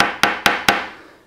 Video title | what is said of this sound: Air by crazybaby Review: Quality | it's a solid casing here